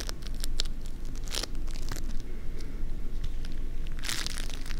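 A small handful of green crunchy foam-bead slime (floam), soft and solid with no container, is squeezed, pressed and pulled between fingertips close to a binaural mic. It gives dense crackling, crunchy sounds over a steady low rumble, with brighter crackle bursts near 1.4 and 4.1 seconds.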